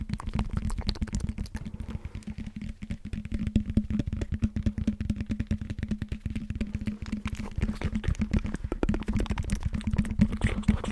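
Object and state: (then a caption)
Foam roller. Fingertips and nails tap and scratch the raised knobs of a hollow blue EVA foam roller with a hard tan core, held close to the mic. A dense, continuous patter of soft, dull taps and scrapes sits mostly in the low range, over a steady low tone near 210 Hz, with little brightness.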